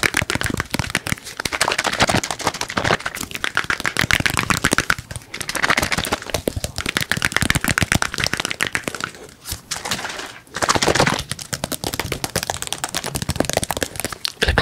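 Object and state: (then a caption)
Plastic squeeze bottle. A hollow, handheld white and teal plastic squeeze bottle or tube of a cosmetic product is tapped rapidly with fingertips and fingernails close to the microphone. The result is a dense stream of dry, crackly clicks and taps, bright and centered in the mids, each dying away almost instantly. It eases briefly around the fifth second and again around the tenth before picking back up.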